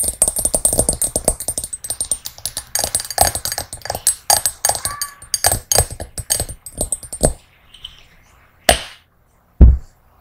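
Long nails tap rapidly inside a small, empty, hollow hammered brass singing bowl, making dense, quick, bright clicks with short ringing tones. The bowl is then turned upside down and its outside is tapped. The tapping thins out and ends with two separate louder knocks.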